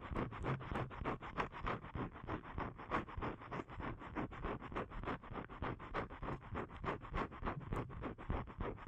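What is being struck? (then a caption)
Thin paper card. Fingernails repeatedly scratch the face of a thin, flat blue paper card held in both hands. The dry, rasping strokes come in a fairly steady rhythm of about three per second, each short and quickly fading. The sound is full and muffled, with little bright top end.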